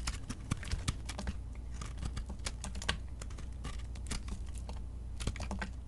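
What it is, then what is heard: Crumbly soap being scraped. A metal blade scrapes crumbly flakes from a small, flaky beige soap piece held in the fingers. Rapid, dry, crisp scratching and crackling clicks run throughout with bright edges, over a steady low hum.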